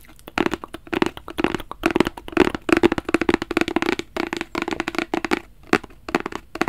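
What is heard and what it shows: A small, hollow black rigid cardboard Versace gift box is held flat in both hands and scratched and tapped with fingertips and nails. Rapid bursts of crisp, dry taps and scratchy strokes carry a hollow, boxy tone of about 290 Hz, separated by brief pauses. Each hit dies away almost instantly.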